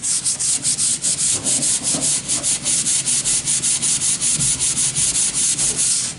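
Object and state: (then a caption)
Wooden board being sanded. A sanding sponge is rubbed along a long, thin, solid wooden plank in quick back-and-forth strokes. Each pass makes a bright, hissy scratching, repeating in a steady rhythm with short dips between strokes.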